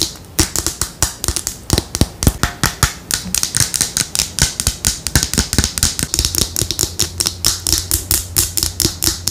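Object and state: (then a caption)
Plastic skincare bottle. Long nails tap a small teal plastic Neutrogena skincare bottle with a silver cap, held in the hand. About 46 quick, crisp, dry clicks come in an uneven rhythm, bright in the upper frequencies with almost no ring, over a faint low hum.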